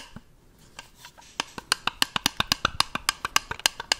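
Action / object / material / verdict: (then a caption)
tap / small round plastic jar / plastic / none. A small, hollow, round white plastic jar is held up close to the microphone and tapped with the fingertips. About twenty short, dry, bright clicks sound: a few faint taps at first, then a quicker, louder run of crisp taps that stop almost instantly.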